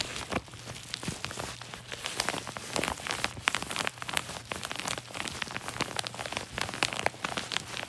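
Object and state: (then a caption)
Paper padded mailer envelope. Fingertips and nails rub, scratch and crinkle the surface of a large yellow kraft-paper padded mailer envelope lying on a lap. The result is a continuous, bright, dry crackling full of quick papery ticks and rustles, over a faint steady low hum.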